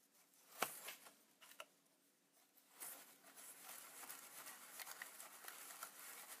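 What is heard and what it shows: A wide bristle brush sweeps across the front panel and lens area of a Polaroid Supercolor instant camera with a hollow plastic body. A sharp tick opens the clip, followed by a few soft, scratchy brush strokes. These build into a steady, hissing rub across the plastic.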